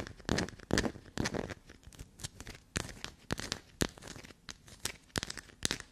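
A small solid piece of black soap held between the fingers is scratched and scraped by long black nails, flaking pieces off its surface. Quick, uneven bursts of dry crackling and crumbly scraping follow one another, with bright, broadband textures and short, soft thuds.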